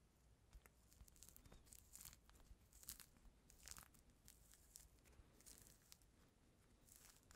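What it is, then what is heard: Peeled mandarin orange, pith picked off. Fingertips and nails pick and scratch the white pith and membrane off a small, solid, whole peeled mandarin orange held up close to the microphone. The result is a quiet, steady run of soft, close-up tearing and crinkly scratching, with brief bright crackles over a faint low hum.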